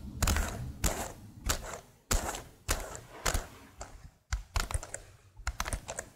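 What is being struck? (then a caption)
Plastic laptop keyboard keys. Long nails tap and type on the keys of a tilted plastic laptop keyboard, making a series of sharp clicks and hollow thunks in uneven bursts. Each stroke has a bright, crisp attack over a low, dull body and fades almost at once.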